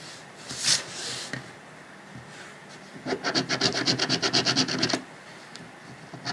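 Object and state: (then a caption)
Paper scratch-off ticket being scratched. A coin rubs the latex coating off a thin, flat paper lottery scratch-off ticket resting on a dark cloth. A single bright scrape is followed by a quiet pause, then a quick run of evenly spaced, raspy strokes lasting about two seconds. The strokes are high-pitched and dry, with little low end and almost no ring between them.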